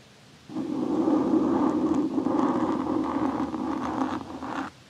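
The flat and edge of a large metal knife blade are slowly scraped along the left side of a soft, porous black foam windscreen covering a Blue Yeti microphone. A steady, close rustling scrape with a warm low-mid body runs for about four seconds before stopping abruptly.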